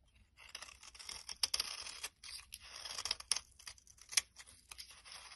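A solid, translucent brown-orange glycerin soap bar, held in the hand, is scraped and shaved with a metal blade. Bright, dry, crackly shaving strokes come in a series of bursts, with occasional sharp clicks and almost no low end.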